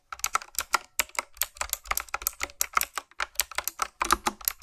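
Fingertips with long nails type quickly on a full-size retro typewriter-style keyboard with a dark frame and round black plastic keycaps on backlit mechanical switches. A fast, uneven stream of sharp, bright clicks and clacks rings out, each one dying away almost instantly with hardly any low end.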